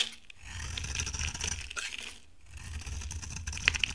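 A utility knife blade scrapes and carves a solid, dry, cream-colored bar of soap held in the hand, with flakes falling away. The sound is a bright, crunchy, rasping scrape over a soft low rumble, easing off briefly in the middle before resuming. It ends with two sharp, bright clicks.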